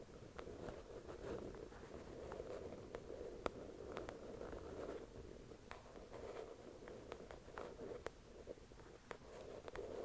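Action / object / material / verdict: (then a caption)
tap / paperback book with glossy card cover / paper / none. Long acrylic nails tap the glossy cover of a thick paperback novel resting on a white cloth. Quiet, dense patter with a soft, muffled body around 500 Hz, punctuated by sharp, bright clicks that die away almost instantly.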